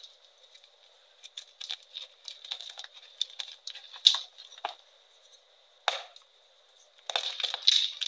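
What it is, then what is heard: Gym chalk block crushed by hand. Fresh, solid, brittle white gym chalk blocks (magnesium carbonate) are crushed and crumbled between both bare hands, fingertips and palms, breaking into chunks and powder. Irregular bright, dry cracks and crumbly crunches come in bursts, with a dense cluster of crumbling near the end. A faint steady high tone runs underneath, and there is no low end.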